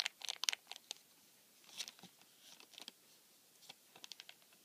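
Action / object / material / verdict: scrape / cardboard tissue box with plastic film window / plastic film / none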